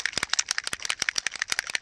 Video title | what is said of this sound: Distress Oxide Resist Original Sprays Through Stencils | you hear that ball rattling